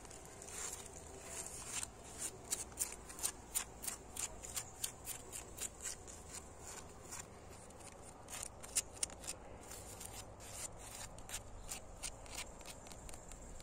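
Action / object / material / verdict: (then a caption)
tap / brick wall with mortar joints / brick / none. Fingernails scratch and tap along an old, solid red brick wall with flaking white mortar and paint, working over the bricks and mortar joints. A rapid run of dry, bright clicks and scrapes rises over a quiet, steady low rumble. Each tap dies away instantly with no ring.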